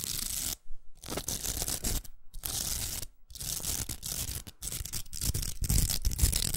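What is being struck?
Plastic velcro hair roller.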